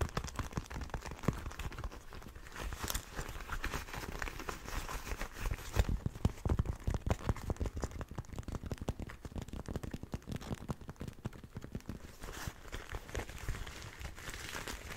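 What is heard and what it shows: A single black and red leather motorcycle glove, hollow and empty, is turned over in the hands while fingertips scratch and rub its leather surface and armour. The result is a continuous stream of dense, dry crinkling and scratching with many short, sharp bursts over a soft, low rumbling handling noise. It stays at a steady, quiet level throughout.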